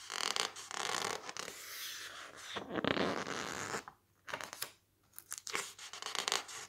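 Fingertips press, squeeze and turn the thick, blue glossy pages of an open softcover book. This produces close, bright crinkling, squeaky rubbing and papery scratches with little low end. Two brief near-silent pauses fall in the second half before the rustling resumes.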